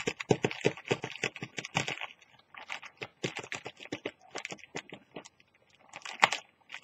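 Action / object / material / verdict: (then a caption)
scrape / thin plastic carrier bag / plastic / none. Long teal nails scratch and pinch-crinkle the surface of a thin orange plastic carrier bag lying flat and empty. Rapid, dry, bright crinkling and scratching bursts follow one another closely, with brief quieter gaps before a final loud crinkle near the end.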